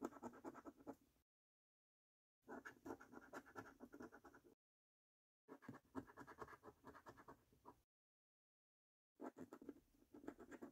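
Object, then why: Paper scratch card with latex coating, scraped with a coin. A coin scratches the latex coating off a thin, flat paper £15 "3x £1 Million Snack Stack" National Lottery scratch card. The sound is quiet, rapid, raspy scraping in four separate bursts with silent gaps between them, and each stroke is short and dry with some bright grit on top.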